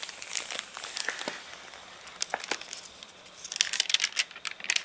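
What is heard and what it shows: Fingers turn a stiff page of a thick paper catalogue whose pages have been warped by water and dried crinkly from rain, then rub the crinkled sheets lying flat. Dense, bright crackling and crinkling comes in quick bursts, thickening into sharp crunches toward the end, with almost no low end.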